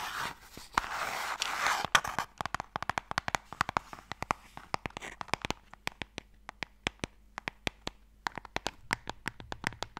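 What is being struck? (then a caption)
Small wooden box. A small, closed, pale wooden Mikado box, hollow and holding sticks, is held upright in one hand and tapped with fingertips and nails. It opens with about two seconds of dense, bright scratching, then turns into a long run of sharp, dry clicky taps with almost no ring. The taps come in quick, uneven bursts, with a brief pause just before the end.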